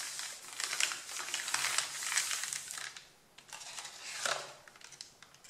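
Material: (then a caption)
Paper. Both hands rub and crumple the top sheet of a flat, solid stack of thin white A4 printed paper with fingertips and nails. Dense, bright crinkling and rustling comes in two long bursts separated by a brief near-silent gap around three seconds in, with sharp crackles over steady friction noise and almost no low end.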